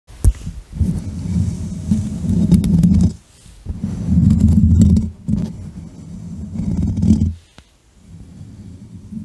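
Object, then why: Metal mesh microphone grille. Fingertips and medium nails of both hands scratch and tap directly on the rounded, hollow metal mesh grille of a black USB condenser microphone on a stand. The result is a deep, boomy, muffled rumbling with almost no high end, coming in long scratching bursts separated by brief near-silent pauses, ending in a quieter stretch of scratching.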